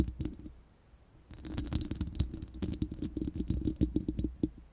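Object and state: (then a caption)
Metal microphone grille scratched and tapped. Long nails scratch and tap the bare, hollow, round steel mesh grille of an uncovered studio microphone. Soft scratching leads into a brief near-silent pause, then a dense run of quick, crackly taps with a deep, boomy low thump and short bright ticks on top.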